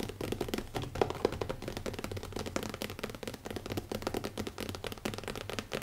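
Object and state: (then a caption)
Leather-covered notebook. Fingertips, first of one hand and then both, tap rapidly on the cover of a closed black leather hardcover notebook resting on a wooden table. A dense, steady stream of short, dull taps with a soft low-mid thump continues throughout, with a few slightly louder taps standing out.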